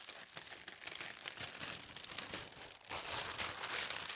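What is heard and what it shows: Long red-painted nails and fingertips rub and smooth flat a single large, thin sheet of white tissue paper printed with green leaves and red berries, lying on a fabric tablecloth. A steady stream of soft, bright crinkling and rustling is heard, almost all in the high range with no low end. It briefly dips, then grows louder and denser toward the end.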